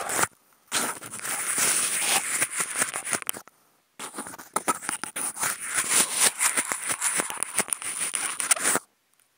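Two toothpicks fitted with clip-on contact microphones scratch across the ribbed grooves on the side of a hollow, empty, white hexagonal expanded-polystyrene food container. The result is a dense, bright, rasping scratch with a high, hissy squeak, made of rapid choppy strokes and almost no low end. It plays in two long bursts separated by a brief silence.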